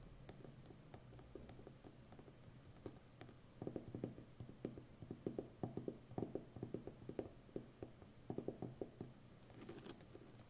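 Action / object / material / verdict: tap / plastic packing tape roll on a cardboard core / plastic tape / none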